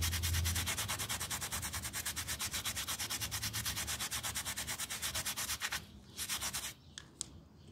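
A yellow toothbrush scrubs a small, round, soapy and foamy miniature pile rug held by fingers on a tile floor, making fast, rhythmic, bright, bristly rubbing strokes, about three per second. The steady scrubbing runs for nearly six seconds, pauses briefly, resumes for a short burst, then gives way to near-quiet with a faint click.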